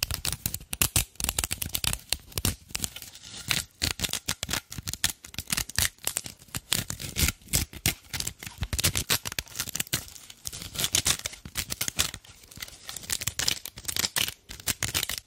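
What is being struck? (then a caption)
Dried natural loofah sponge. A cylindrical dried natural loofah head, porous and fibrous with a hollow core, is held in the hands and scratched with long black nails along its surface and open end. The result is a dense run of short, dry, bright scratching and crackling bursts that start and stop unevenly, with very little ring after each stroke.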